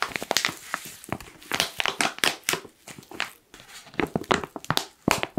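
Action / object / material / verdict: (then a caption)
scrape / foil-lined plastic coffee bag / foil plastic / none. A black foil-lined plastic coffee pouch is tilted and crinkled with fingertips along its top edge. The result is a quick, irregular run of sharp, bright crackles and rustling bursts with almost no low end.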